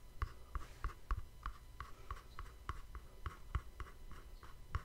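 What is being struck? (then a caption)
Small cardboard gift box. A small, hollow, cream-colored cardboard gift box with a black-edged ribbon bow is held beside a microphone and tapped and scratched with fingertips and nails. About 15 quick, soft taps land in a steady rhythm, each a dull, low thump with a short papery click that dies away almost instantly, over a faint scratchy rustle between them.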